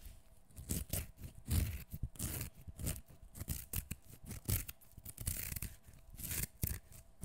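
Fingernails scratch and tear strips of skin off a whole, partly peeled fresh cucumber held solid in one hand. Quiet, uneven bursts of scratchy, ripping noise repeat throughout, each with a soft low thud and a bright crackly edge.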